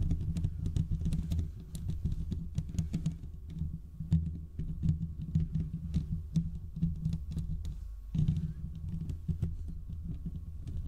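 Fingertips and short nails of both hands scratch and tap across the hollow domed steel mesh grille of a large desktop condenser microphone. The result is a dense, rapid patter of scratchy clicks over a heavy, boomy low rumble, with short bright crackles on top. The scratching pauses briefly near the eight-second mark, then resumes.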